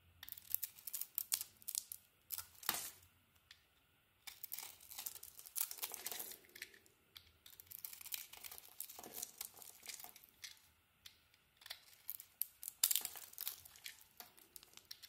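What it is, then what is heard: Soap bar being carved. An oval solid soap bar with a blue dotted outer layer over a green core, held in the palm, is carved and scraped at the edge by a small metal blade, with chunks breaking off and crumbs piling up. The sound is bright, crisp crackling and scraping: rapid bursts of short, dry crunches with almost no low end. Brief quiet pauses separate the runs of cutting.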